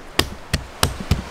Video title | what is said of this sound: Finding Positivity in this Negative Global Situation, Essential! + SURPRISE #1 // Ep.50 Sagar Rani | Ça sonne creux. Hyper creux.